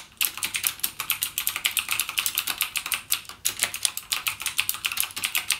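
Fingertips type continuously with rapid presses on a backlit full-size mechanical gaming keyboard with Cherry MX Blue switches and plastic keycaps, lying flat on a dark desk. A fast, steady stream of sharp, bright clicks with almost no low end is heard, each dying away almost instantly, with a brief pause about halfway through.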